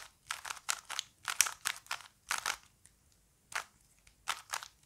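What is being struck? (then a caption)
Plastic puzzle cube. A small plastic Rubik's cube is held in both hands while the fingertips rotate its layers. It makes quick, bright plastic clicks and crunchy scrapes, coming in clustered bursts with short pauses between them. Each click is dry and stops at once, with no ring.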